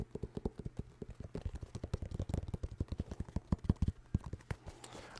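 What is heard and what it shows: New Balance sneakers with synthetic leather uppers and rubber soles are tapped in rapid, uneven runs of quick, dull, low thuds. The taps are soft and dry with almost no ring, and the pace quickens and grows slightly louder midway before easing off.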